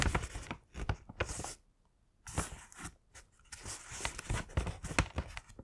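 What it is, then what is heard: Kraft paper bag. Fingertips press and run along the folded-over top flap of a thin, hollow, yellow-printed Winnie the Pooh kraft paper gift bag, creasing and rubbing the paper. The result is bursts of dry crinkling and rustling with bright crackle over soft low thumps, broken by brief near-silent pauses.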